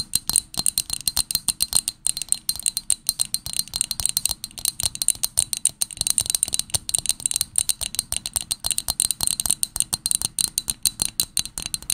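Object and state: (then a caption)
Glass tumbler. A small, hollow pink Pottery Barn glass tumbler, held in both hands, is tapped rapidly with long nails for twelve seconds. It gives a steady stream of very short, bright, high-pitched rattling glass clinks with almost no ring and little low end.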